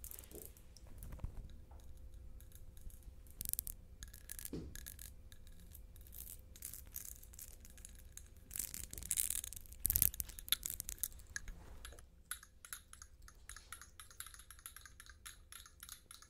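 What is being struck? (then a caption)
Wax-filled glass candle jar. Long painted nails scratch and tap a medium-sized glass candle jar with a blue wrap, held in both hands; the jar appears closed and filled with wax. Quiet, bright scratching and crisp, short clicking taps run throughout over a faint low hum, briefly growing louder near the middle. The sound thins to lighter, high-pitched scratching at the end.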